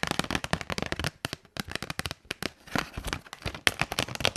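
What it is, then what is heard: Cardboard box tapped and scratched with nails. Long nails tap and scratch the surface of a small, hollow, closed white printed paperboard box labeled "HONGQIXIANG Highlighter Pen," held in the hand. Dense, rapid clicks and dry scratchy crackles fill the clip with short pauses, each tap bright and quick with almost no ring.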